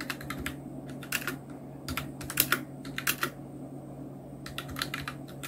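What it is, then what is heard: Plastic mechanical keyboard being typed on. Continuous two-handed fingertip typing on the keys of a full-size black Nubwo Illution NK-70 mechanical keyboard with Outemu red switches, round plastic keycaps and blue backlight. Quick, irregular clicky keystrokes come in bursts, each short and bright with almost no ring, over a steady low hum.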